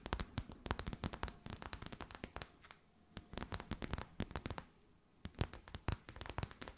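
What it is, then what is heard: Clear plastic wrap. A thin, clear, crinkly plastic sheet with a gold edge is held in both hands and bent and crinkled by fingers with long white nails. Rapid, sharp, dry crackles come in dense bursts with two brief quieter pauses, making a quiet, bright crinkling texture.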